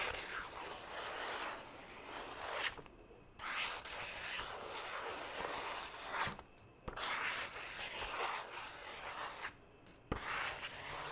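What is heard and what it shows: Fingertips scratch and rub the surface of a single thin white printer-paper sheet held in one hand close to the microphone. Dry, bright, papery scratching with little low end runs in long passages, broken by brief near-silent pauses. A sharp crinkle or click marks the restart after the later pauses.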